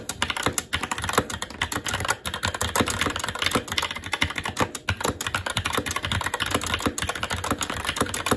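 Fingertips of both hands type continuously on a SteelSeries Apex 7 TKL mechanical keyboard with red linear switches, black plastic keycaps and an aluminum plate. The result is a steady stream of rapid, crisp plastic clacks with a bright top and a light low thump, each tap dying away almost instantly.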